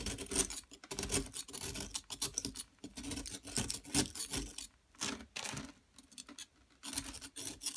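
A small metal chisel tool scrapes a solid, medium-sized yellow plaster gold-bar-shaped dig kit block held in a hand with long nails. The result is a run of short, dry, gritty scraping strokes, bright and hissy with only a little low end. Brief quiet gaps fall between the bursts.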